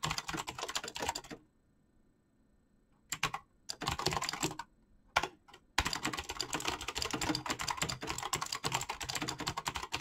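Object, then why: Mechanical keyboard with PBT plastic keycaps. Fast fingertip typing on a black mechanical keyboard with clicky switches and PBT plastic keycaps. The dense, bright clicks and clacks come in bursts, stop for about 2 s of near silence with a few short flurries, then run steadily to the end.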